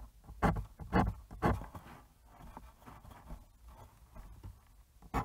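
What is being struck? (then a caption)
Fine pen nib on bristol paper. A fine fountain pen nib draws ink lines across a thin, smooth white bristol paper sheet resting on a cutting mat and held flat by one hand. Soft, dry scratching strokes come in short bursts, with several louder strokes standing out over quieter, fainter scratches, in a quiet setting.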